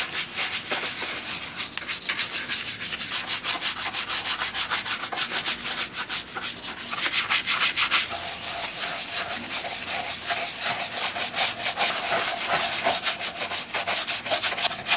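A black leather Red Wing 2951 work boot with a rubber lug sole is held in one hand while a wooden-handled horsehair brush is swept back and forth over the toe and heel leather. Quick, even brushing strokes produce a steady, bright, hissing scrub with a slight rhythmic pulse throughout.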